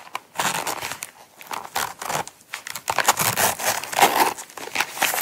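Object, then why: Small coated-canvas zip wallet. Long nails scratch and tap the sides and zipper edge of a small, closed Coach coated-canvas zip wallet held in the hands. The result is a steady run of dry, crinkly scratching bursts with short, bright taps. The sound is mostly high and papery, with almost no low end and very little ring after each touch.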